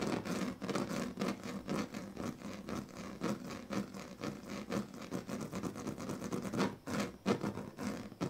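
The tail of a pink plastic comb scratches across the strips of a large, flat, woven plastic sleeping mat. It makes a steady run of rapid, ridged scratching clicks with a dense low-mid rasp and occasional brighter strokes. The texture stays even throughout, with a few louder scrapes near the end.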